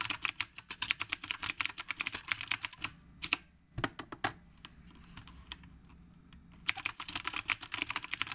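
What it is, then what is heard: Typewriter-style mechanical keyboard. Fingertips type on a retro typewriter-style mechanical keyboard with round plastic keycaps, producing rapid, bright, sharp clicks with almost no low end. Midway the typing slows to a few scattered keystrokes and a soft low thump, then a quiet stretch. The fast clicking returns at the end.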